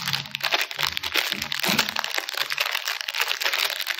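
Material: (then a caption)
Plastic film. A small red plastic-film wrapper of a Choco Lava chocolate chip cookie pack, still full with the cookie inside, is held in both hands while fingertips crinkle, squeeze, and twist or pull it open during unpacking. A dense, bright crackling and crinkling runs throughout, with sharp crisp snaps that die away almost instantly and very little low end.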